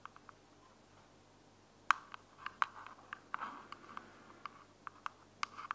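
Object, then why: Small plastic earbud charging case. Long nails scratch and tap the flat lid of a small, closed, hollow white plastic earbuds charging case held in one hand. About fifteen quiet, sharp clicky taps land at an irregular pace, with soft scratching in between. The taps have a bright tone around 1 kHz and almost no ring.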